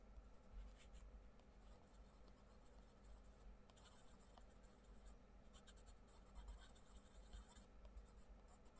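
A wooden coloured pencil makes rubbing strokes across a paper page of an open paperback colouring book, colouring in a butterfly. The quiet, steady scratchy shading comes in bursts of bright, papery hiss over a faint low hum.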